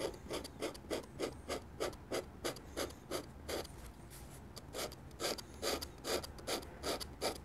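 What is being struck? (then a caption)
Metal dip pen nib on drawing paper. A metal dip pen nib makes quick hatching strokes on a sheet of white drawing paper lying on a table, working on an ink drawing of a church while an ink bottle stands nearby untouched. The result is a steady run of short, dry, rasping scratches with a bright papery hiss, pausing briefly midway before the strokes resume.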